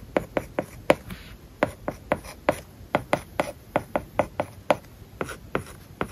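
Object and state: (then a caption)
Stylus writing on a tablet with matte plastic screen film. A plastic stylus writes words on an iPad lying flat, its glass screen covered with a matte plastic paper-like film. About twenty short, dry taps and scratches ring out at an irregular writing pace, each with a brief ticking click centered in the midrange around 535 Hz. Each dies almost instantly over a quiet background.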